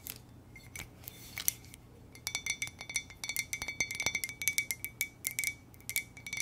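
A hollow white ceramic "muah!" coffee mug is turned in the hands and tapped with long nails. The taps form a quick, irregular series of bright, sharp clicks with short high-pitched ringing tones and almost no low end. Quieter handling sounds fill the gaps between them.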